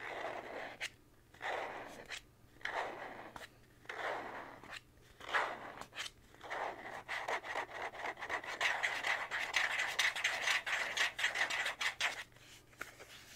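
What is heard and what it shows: A thin white plastic card with a small slot, held in both hands, is rubbed and scratched with fingertips. The sound is a quiet, dry, breathy scraping in soft bursts that start slow and separate, then grow quicker and denser, with a bright hiss centered near 2 kHz over a faint low hum.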